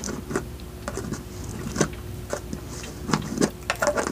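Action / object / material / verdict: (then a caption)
tap / small plastic jar with lid, filled with gel beads / plastic / none. Fingertips and nails tap the white lid and sides of a small clear plastic jar with a pink label, held in both hands and filled with dry floral gel beads. The result is a series of short, dry, hollow plastic taps and clicks with almost no ring, over a faint low hum. A quicker cluster of brighter clicks comes toward the end.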